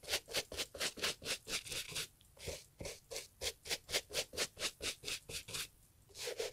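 A small bristle brush scrubs the leather upper of a brown Italian leather loafer, a hollow shoe held in a gloved hand, during restoration. About 24 quick, bright, bristly scratching strokes come in a steady back-and-forth rhythm, with brief lulls around the two-second mark and again near the end.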